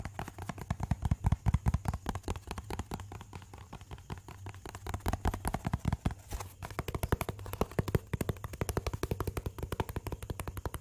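A small, hollow white cardboard box is tapped and scratched with fingertips and nails. The result is a rapid, irregular stream of dull, low thuds that stop almost instantly, mixed with faint scratching.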